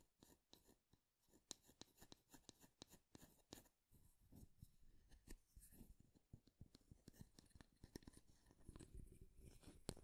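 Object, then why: Wooden wide-tooth comb. Fingernails run across the teeth of a light wooden wide-tooth comb held near the mic, scratching and strumming it. Quick, dry clicks and plucks with very short decay come in uneven bursts, separate at first, then denser scratchy runs with bright edges. The sound stays quiet and close throughout.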